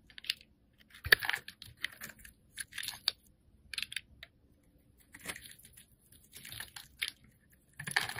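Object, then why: Bar of soap shaved with a metal blade. A metal blade shaves pieces off a solid green-yellow striped soap bar held in the hand. Short, dry scraping and carving strokes come in separate bursts with quiet gaps between them. The sound is crisp and bright, with little low end and no ringing after each stroke.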